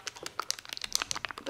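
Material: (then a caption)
Glass. A glass bottle of Chanel Vitalumière liquid foundation is shaken so the small mixing ball inside rattles, producing about twelve quick, bright, dry clicks with almost no low end. The ball is there because the product's oil separates from its watery phase, so the bottle must be shaken well before use.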